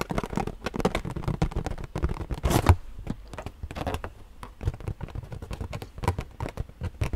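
A hollow, inflated purple latex rubber balloon is tapped and scratched with long nails. It makes a rapid, uneven run of soft, dull thumps with a low boomy body and very short decay, mixed with light scraping and rubbery scratching.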